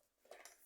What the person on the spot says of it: quand on tape dessus, vous l'entendez bien que c'est pas du steelbook de super bonne qualité